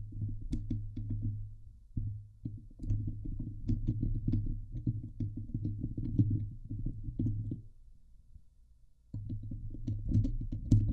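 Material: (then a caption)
Steel mesh. Fingers and nails scratch the hollow steel wire-mesh dome grille of a Blue Yeti microphone, producing dense, rapid scraping with a heavy, boomy low hum underneath. Faint bright ticks sit over the low rumble. The scratching runs almost continuously, eases to a quiet stretch, then resumes loudly near the end.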